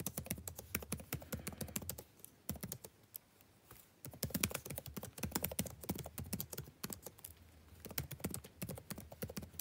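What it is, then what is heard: Plastic laptop keyboard being typed on. Fingertips type on a backlit laptop keyboard with plastic keys, making rapid, dry clicking taps. The bursts of typing pause briefly near the middle before quick runs of clicks resume.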